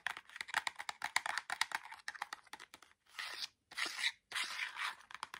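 Fingernails quickly tap and scratch the sides and edges of a small orange cardboard LED fairy-light box with a plastic window as it is turned in the hands. A rapid run of dry, crisp clicks with no low end gives way to three longer, bright, papery scratching bursts separated by brief silences.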